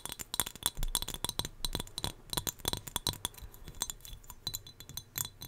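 A small turquoise glass whale figurine, also used to hold hair ties, is tapped in a quick, uneven series. Each tap gives a short, bright glassy clink with a high ringing tone around 3.5 kHz that dies away almost at once.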